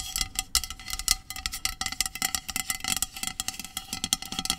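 Long acrylic nails tap-scratch along a hollow, medium-sized aluminum dry shampoo aerosol spray can lying on a blanket. The result is a quick, continuous series of short, bright clicks and scrapes, with a faint metallic ring from the can beneath them.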